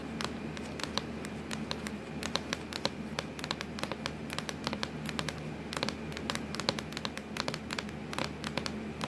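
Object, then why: Plastic laptop lid. Long acrylic nails scratch and tap on a hollow, black textured plastic laptop lid, making a steady stream of short, sharp clicks over a soft scratchy rustle. The clicks are crisp and die away almost instantly, with a faint, steady low hum underneath.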